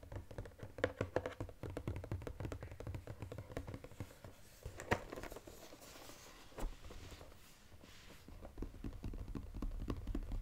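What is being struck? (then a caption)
Cardboard chocolate box. Fingertips tap quickly on the side and lid of a flat brown Godiva cardboard chocolate box with a gold inner edge. The taps come as a fast, uneven patter of soft, dull, low thuds that stop short with almost no ring. A few sharper, louder taps stand out along the way.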